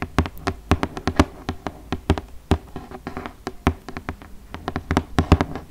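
Long nails and fingertips tap and scratch the front face of a large, flat, printed cardboard "200 Spellendoos" game box, held upright and likely closed with game pieces inside. About thirty quick, dry, hollow taps land with low, boomy body and almost no ring, with soft scratching in between.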